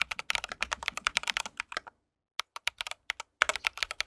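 Fingertips of both hands type steadily on an RGB mechanical keyboard with white plastic keycaps and a metal case. Rapid, bright clicky keystrokes come in dense bursts, with a short silent pause in the middle before the typing resumes.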